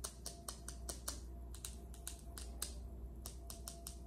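Long acrylic nails on both hands rapidly tap and scratch a large, solid, polished speckled granite kitchen countertop. Sixteen sharp, bright clicks ring out in quick succession over soft scratching, with a steady low hum underneath throughout.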